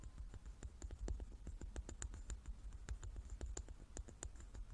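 Long nails tap rapidly across the faces of a large, hand-sized wooden die made of solid light wood with dark pips, held in both hands. The result is a quiet, steady patter of short, crisp clicks over a soft low rumble.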